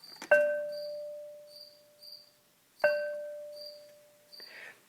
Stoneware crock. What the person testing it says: if you hit a crock pot you will hear that it rings if it rings it's a good crock pot if it doesn't ring there is a crack in it